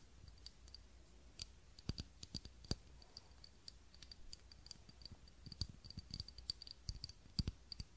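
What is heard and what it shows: Fingernails tap and scratch the sides of a small, clear, textured glass cup holding a lit tealight candle, held in both hands. Quick, irregular, bright clicks with a faint high glassy tone die away almost instantly over a low, steady hum.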